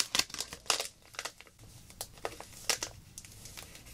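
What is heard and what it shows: Long black nails squeeze and crinkle a small clear plastic zip-lock bag filled with silver glitter, held in both hands. Bright, crisp crackles come in quick irregular bursts, mostly high-pitched with little low end. Between them is a faint, soft rustle.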